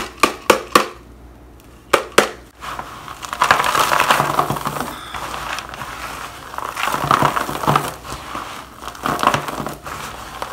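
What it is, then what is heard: Crumbled shaved bar soap. A pressed block of shaved bar soap shavings is broken by gloved hands, giving five sharp, dry snaps, then crushed and crumbled into a black plastic bowl. This becomes a dense, continuous crinkling crunch centered around 1 kHz with bright, crackly edges. It swells and fades in waves until the end.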